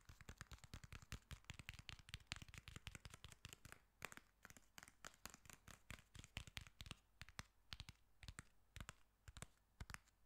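Fingertips and nails tap and scratch the cover and spine of a solid black hardcover book, 'The Girl on the Train'. Quick, dry taps come in a dense, uneven stream, each with a soft low thump and a bright clicky edge that dies almost instantly. Faint scratchy rustling fills the short gaps.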